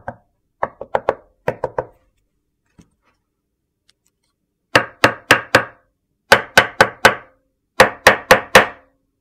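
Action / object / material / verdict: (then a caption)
strike / large slab of solid soap / soap / none. A large, flat rectangular slab of solid white soap resting on a dark surface is knocked with a knuckle, giving a few quick, light, dry knocks. It is then struck with a metal meat mallet in three groups of four louder, sharper knocks that stop short with almost no ring.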